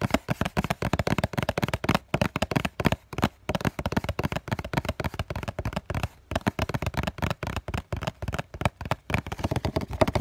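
Multiple fingertips tap quickly on the printed front face of a hollow cardboard COCON tissue box held up in both hands. The result is a rapid, continuous stream of short, dull, hollow thuds with a low, boxy resonance and almost no ring, with only brief pauses between bursts.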